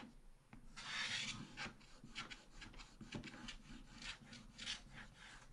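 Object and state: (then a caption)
Scratch-art paper page. A wooden stylus scratches repeatedly across a black-coated scratch-art card page in a small spiral book. The result is a quiet, bright, raspy scratching made of a run of short strokes, with one longer hissing stroke near the start.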